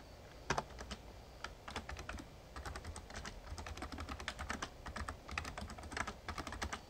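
Fingertips type on the keys of a Razer Ornata Chroma, a full-size backlit plastic mecha-membrane gaming keyboard. A steady, uneven run of short, crisp key clicks and soft thuds is heard, with quick bright snaps over a low, muffled bottom-out thump. Each keystroke dies away almost instantly.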